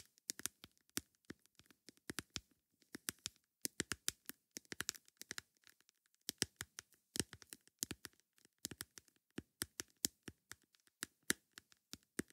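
Long nails tap a plastic lid in quick, irregular bursts of dozens of sharp, bright clicks with short pauses between runs. Each tap is dry and dies away almost instantly, with little low end and a quiet overall level.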